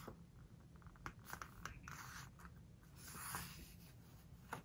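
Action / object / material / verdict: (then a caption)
scrape / glossy paper book pages / coated paper / none. Hands turn a glossy page of a home decoration book and rub it flat with fingertips and long nails. Soft, papery rubbing and sliding fill the clip, broken by brief crisp ticks and scratches. A louder smoothing swell comes near the end before a final sharp tick.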